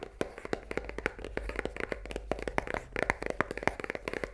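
Long nails tap quickly on the top of a full cardboard pasta box lying on a table. The result is a fast, irregular run of dry, papery clicks, each dying away almost at once, with a hollow midrange body and bright edges. Some taps fall closer together than others.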